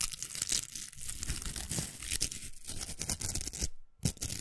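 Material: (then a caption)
Plastic. Long nails scratch the velcro of a large, hollow, pink plastic velcro hair roller and rub across its plastic. The result is a dense, bright, crackly rasping with quick scratchy strokes and a low thumpy undertone. Near the end the sound drops out briefly to near silence, then returns with a sharp scrape.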